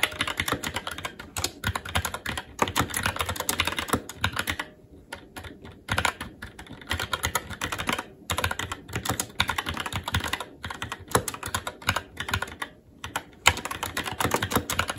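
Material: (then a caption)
Plastic. Fingertips of both hands type steadily on a SteelSeries Apex 7 TKL mechanical keyboard with red linear switches, plastic keycaps and a metal top plate. The result is a dense stream of short, bright clacks with quick decay. Brief pauses fall near 5 and 13 seconds before the typing resumes.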